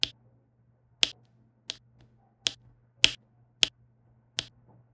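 A plastic pen with a pink wax tip taps and presses small resin rhinestone drills into place, in rows, on a flat adhesive diamond painting canvas. Seven short, sharp, bright clicks sound at an uneven pace, each dying away almost at once over a faint low hum.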